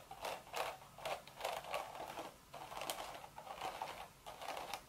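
Long red nails scratch the woven crown of a cream straw hat with a hollow crown, making a steady series of short, dry, crackling scrapes. Each stroke has a rustling mid-range body and a bright, hissy edge, with brief quiet gaps between passes.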